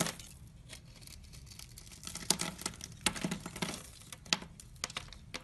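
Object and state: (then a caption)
Soap bar being cut. A utility knife blade cuts and scrapes the surface of a solid rectangular white soap bar held in hand, sending shavings flying. Soft, bright crackling scrapes run throughout, broken by sharper, louder crisp cuts that stop quickly with almost no ring.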